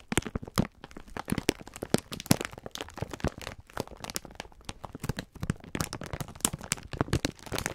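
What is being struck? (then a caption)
Sponge scourers in plastic film wrapper. Hands squeeze and rub a full, clear plastic-film package of sponge scourers. The result is a steady stream of crisp crinkling and crackling, with many sharp, short bursts that reach up into bright highs over a soft low rustle.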